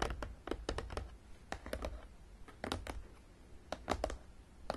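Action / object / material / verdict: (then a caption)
tap / cardboard game box / cardboard / none. Long nails tap quickly on top of a long, printed, hollow and closed cardboard Battleship game box. About eighteen light, clicky taps sound in irregular bursts with brief pauses, each carrying a soft, hollow low thump that dies away almost at once.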